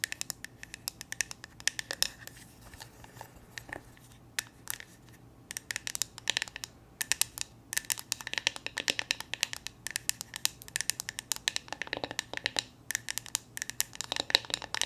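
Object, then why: Plastic hair brush back. Long nails tap and scratch the hollow molded back of a hand-sized purple plastic paddle hair brush. The result is quick, bright clicks and scratchy rasps in uneven bursts, with brief pauses and a faint steady low hum underneath.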